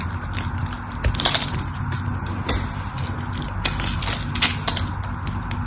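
A metal blade slices scored cubes off the face of a solid striped bar soap. Crisp, bright crackling snaps and clicks repeat through the clip over a steady low rumble, each cut dying away quickly.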